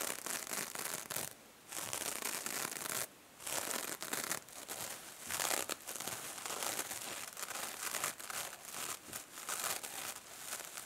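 A small, silver, mesh-covered foam sponge is held in the hand while the fingers squeeze it and the nails rub its surface. The result is a dense, bright, crinkly scratching and crackling that runs almost without pause, broken only by two short quiet gaps early on.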